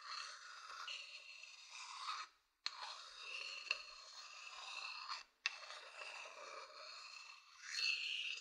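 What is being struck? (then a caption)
Wooden bowl scratched with a thin wooden stick. A thin wooden stick scratches the outer surface of a hollow, empty wooden bowl held beside the mic, making a steady, bright, raspy scraping with a faint ring around 2.6 kHz. The scratching runs in three passes separated by two brief silences, each new pass starting with a sharp click.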